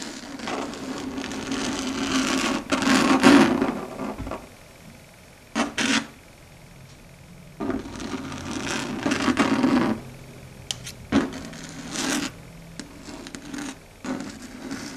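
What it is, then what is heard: Chalkboard scratched with long nails. Long red stiletto nail tips scratch and rub across a flat, dark grey, matte solid chalkboard surface. Bursts of dry, bright rasping alternate with quieter stretches, some strokes carrying a low squealing tone. Several short, sharp scrapes stand out between the longer rubbing passes.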